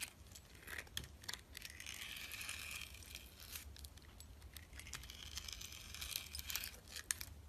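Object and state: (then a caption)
Glycerin soap bar scraped with a knife. A utility knife scrapes the purple glitter coating off a solid, translucent orange glycerin soap bar held in hand. The sound is a quiet, bright, crinkly scraping with sharp little ticks and scratches, swelling into longer rasping strokes and then easing back.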